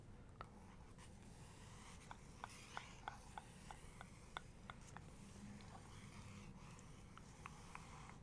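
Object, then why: Glossy paper book page. Long nails scratch and trace across a glossy page of a paper photo book, then a palm rubs the paper. About 13 short, sharp ticks stand out over a quiet, steady low rumble and soft papery hiss.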